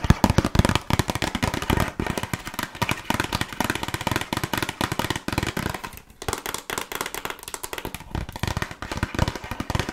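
Long nails tap rapidly and steadily on a small, closed, red printed cardboard box of burger cookies, which is hollow with contents inside. The taps are short, dry, hollow knocks with a thumpy low end and little ring. They run almost continuously for the whole clip, with a brief softer lull around the six-second mark.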